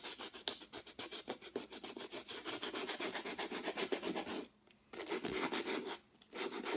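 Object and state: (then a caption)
Textured acrylic-painted canvas being sanded. A folded piece of sandpaper held in the fingertips makes continuous sanding strokes over a stretched canvas with a textured, acrylic-painted surface. Fast, uneven strokes produce a dry, raspy scratching that is bright and hissy with a midrange body. The strokes stop briefly twice, near the end, before resuming.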